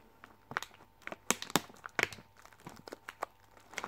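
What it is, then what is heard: Plastic film candy bag. Long manicured nails tap and scratch across the front of a Skittles Chewies sweet bag made of plastic film, held up close. The plastic crinkles in a quick, uneven run of sharp, bright clicks and scratchy rustles with almost no low end, each burst dying away instantly between quieter crackle.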